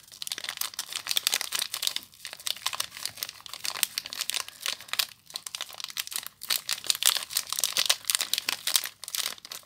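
A small solid soap bar wrapped in crinkly clear plastic is squeezed and scratched by fingertips and long nails. Dense, bright crinkling comes in rapid bursts with brief pauses, staying almost entirely in the high range with no low end. The wrap gives sharp crackles that die away almost instantly.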